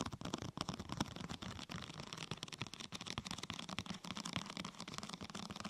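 Long painted nails and fingertips tap and scratch the top of a large, thin, flexible purple translucent plastic protector sheet curved over a binaural microphone like a hollow tunnel. The result is a quiet, continuous stream of crisp crackles, taps and scratchy rustles, with bright high detail over a soft low hollow thump.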